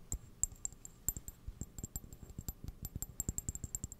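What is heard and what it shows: A hollow, apparently empty white ceramic coffee mug with a printed illustration is tapped and scratched with fingernails on the outside and rim, held close to the microphone. About 21 quick, dry clicks come in an uneven rhythm, each with a thin, high ceramic ping that dies away almost instantly over a soft low thump.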